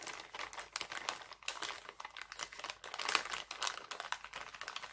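Hands scrunch and crinkle an empty, thin, clear heart-printed cellophane bag. The result is a dense run of sharp, bright crackles and rustles with almost no low end, each snap dying away almost instantly.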